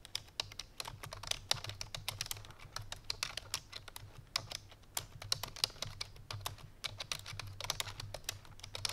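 Fingertips and painted nails of both hands type quickly on a full-size black plastic computer keyboard resting on a white fur rug. The result is a dense, steady stream of sharp, bright clicks with a faint low hum underneath.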